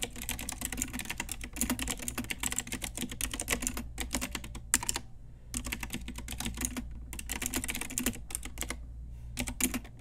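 A pink Ajazz retro typewriter-style mechanical keyboard with round plastic keycaps and hollow key switches is typed on rapidly with long nails and fingertips. Dense bursts of bright, clacky key presses come in fast runs, broken by short pauses, over a steady low hum.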